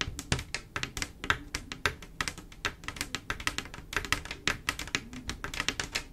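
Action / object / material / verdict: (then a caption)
tap / glass mosaic tile panel / glass / none. Long black-and-pink acrylic nails tap rapidly with both hands across a large, solid, flat glass mosaic tile picture made of silver mirror-like tiles. The result is a quick, uneven run of dozens of sharp, bright clicks, each dying away almost at once.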